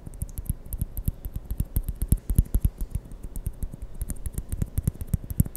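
A small white hollow plastic ping pong ball is turned in the fingers and tapped with fingertips and nails close to the mic. It makes a quick, uneven run of about 40 short, dry taps, each a dull low thump with a faint bright click on top and almost no ring.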